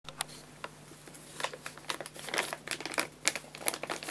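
A 2 kg white paper bag of guinea pig food with a printed label, hollow and filled with dry pellets, is held upright in both hands while fingertips squeeze and crinkle the paper. Quiet, dry, bright crackles and crinkles come in quick irregular bursts that grow busier toward the middle and end. Each crinkle stops almost instantly over a faint steady low hum.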